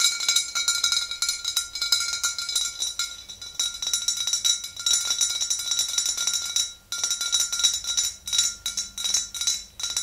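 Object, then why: Glass swing-top bottle with liquid. Long green nails rapidly tap both sides of a tall, clear glass swing-top bottle filled with pale yellow liquid. The result is a dense stream of quick, bright clinks over steady high glassy ringing tones, with a brief pause near the seven-second mark before the tapping resumes.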